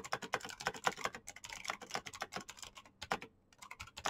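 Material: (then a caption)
Plastic. Fingertips type very fast on a black plastic mechanical keyboard with clicky switches, producing a rapid stream of sharp, bright clicks with very short decay. The typing pauses briefly near the end, then resumes with a few more keystrokes.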